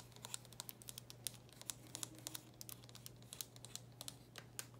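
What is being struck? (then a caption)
Plastic handheld game console. Long nails tap and scratch across the top of a small, closed black plastic handheld game console. A rapid, uneven run of sharp, bright clicks sits over soft scratchy rustling and a steady low hum, with each tap dying away almost instantly.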